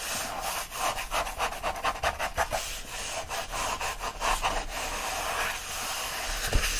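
Fingers grip, rub and scratch the bundle of upright paper pages of an open paperback book. Rapid, dry, rasping strokes come in a steady series of brushy bursts with a bright papery hiss, ending with a brief sharper scrape.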